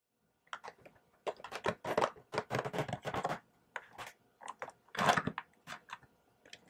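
Fingertips and nails rub and tap the lid of a small clear plastic box holding six macarons on a black plastic tray, held in both hands. Short scratchy, crinkly bursts come in an irregular series, with brief gaps of quiet between them.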